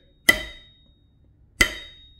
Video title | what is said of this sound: 1/2 VW Build - Crankshaft Comparison CORRECTION! | more of a thud but it still has a ring to it depending on where you tap it it's got a nice ring